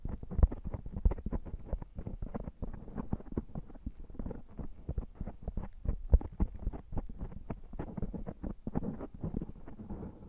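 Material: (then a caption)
Foam. Fingertips and short nails of both hands scratch and rub a black foam microphone windscreen. The result is a dense, muffled stream of rapid scratching and thumping bursts. Nearly all the energy sits low, with occasional louder knocks.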